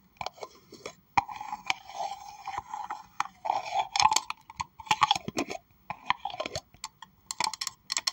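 Long acrylic nails tap and scratch the outer wall of a hollow pink plastic tumbler held in the hands. Quick, bright clicks mix with scratchy scraping and a short hollow ring around a mid pitch, coming in uneven bursts with brief pauses.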